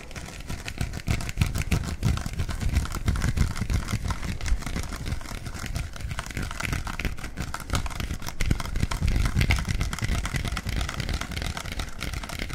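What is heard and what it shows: A clear plastic soda bottle with a black cap is tapped and scratched with fingertips and nails. Rapid, uneven taps and crinkly scratches run continuously, with dull low thumps under a faint bright hiss.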